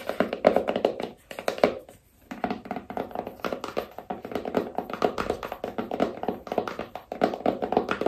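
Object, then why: Small cardboard phone box. Long nails tap rapidly on the sides and edges of a small, hollow black cardboard iPhone box. The result is a dense run of quick, dry, hollow taps with a midrange knock around 600 Hz, with a brief pause near the two-second mark before the tapping resumes.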